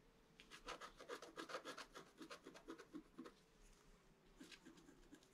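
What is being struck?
Coated scratch-art paper sheet scratched with a wooden stick.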